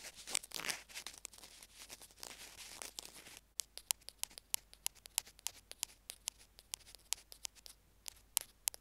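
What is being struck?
Small plastic earphone remote tapped and scratched with bamboo picks.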